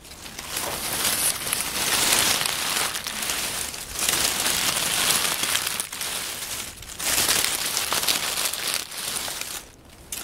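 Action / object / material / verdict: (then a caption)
scrape / pile of oak leaves / leaves / none. Fingers crumple, tear and crush individual crisp leaves from a small pile of dry oak leaves on a wooden table. The result is a dense, bright crackling and crinkling that comes in sustained bursts separated by brief dips, with almost no low end.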